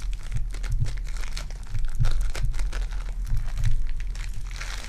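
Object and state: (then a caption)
Foam bead clay ball. A lump of lilac foam bead clay is squeezed with fingertips and nails, then held and pressed in an open hand. It gives a steady stream of dense, crackly crinkling and crunching with bright, gritty detail over a constant low rumble.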